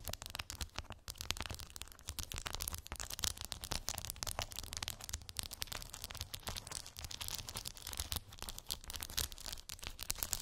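Long acrylic nails tap and scratch across small, colorful plastic gummy bear beads covering a round cork board. The result is a dense, steady stream of bright, crisp clicks and rustling scratches with almost no ring, lasting the full ten seconds.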